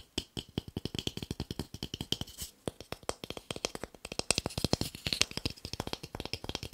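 A small, light, solid pale wooden cube is held in the hand and tapped quickly on its flat faces with fingertips and nails. About fifty rapid, dry, clicky taps follow in an uneven rhythm, each short and bright with almost no ring. A pitched tone sits near 2.7 kHz, with some taps louder and sharper toward the end.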